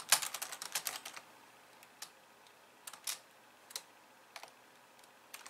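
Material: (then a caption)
Plastic. Two hands with long nails type on a pink plastic computer keyboard with white keys. A quick flurry of bright, crisp clicks in the first second is followed by sparser, isolated taps. Each click is dry and short with no low thump, and faint hiss fills the gaps.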